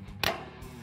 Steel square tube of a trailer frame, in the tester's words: you ping it it's solid